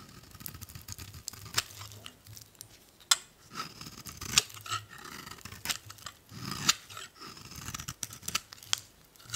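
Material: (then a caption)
Soap. A solid beige bar of soap held in the hand is shaved with a metal utility blade into thin curls. Repeated crisp, bright scraping and slicing strokes are heard, with sharp high-pitched crackles as the blade cuts through.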